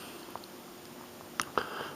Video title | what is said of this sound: moving along on the truck | nothing's coming through yet and it sounds solid